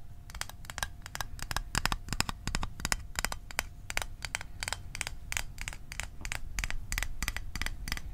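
A small rectangular hollow metal Altoids Arctic tin is tapped with fingertips and nails over the microphone in a quick, uneven run of sharp clicky taps. Each tap is bright and short with almost no ring, over a low rumble and a faint steady tone.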